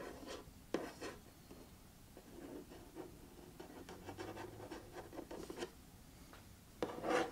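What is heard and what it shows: Fingertips and nails scratch and rub the printed lid of a closed, hollow cardboard puzzle box, then run along the box edges. Soft, dry, papery scraping and rubbing strokes continue at a low level, with a few sharper scrapes standing out. Louder, brighter rasps come near the end.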